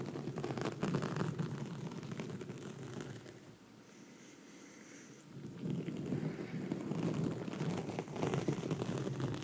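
Long red nails scratch a black foam microphone windscreen, producing dense, rough scratching that is heavy in the low end with brighter crackle above it. The scratching eases into a quieter stretch near the middle, then picks back up to full strength until the end.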